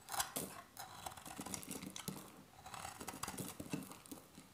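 A hand-sized solid beige bar of dry soap, held in one hand, is carved and scraped with a metal box-cutter blade, shaving thin flakes that pile onto holographic foil. A rapid series of crisp, dry scraping and crackling strokes repeats, with bright, gritty high detail over soft low thuds.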